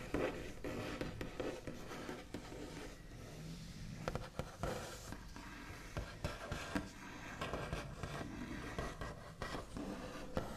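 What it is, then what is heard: Painted wooden table top. The backs of fingernails tap and scratch across a large, solid wooden table top with a smooth white-painted finish. A quiet, continuous scratchy rasp runs throughout, broken by scattered short, sharp taps that die away almost at once. The sound is dull and weighted toward the low end, with only a faint bright edge.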